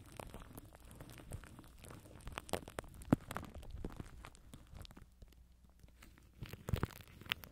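Plastic cling film wrapped over a microphone grille is scratched and pinched by fingers from above, producing close, dense crinkling and tearing-like crackles with a muffled low rumble underneath. The activity quiets briefly in the middle before a few sharper pops near the end.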